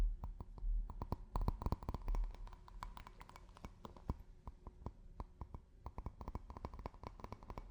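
A drinking glass is tapped with fingers and nails in a quick, uneven rhythm. Each tap is a short, dry click with a faint ringing tone and a soft low thump underneath, and the ring dies away almost at once. The taps sound quiet and close.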